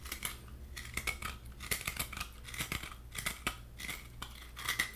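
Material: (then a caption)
Coconut. Fingernails tap and scratch the white flesh lining the hollow shell of a halved coconut. Irregular light taps and scratchy strokes keep up a bright, crisp texture over a steady low hum, each tap fading quickly.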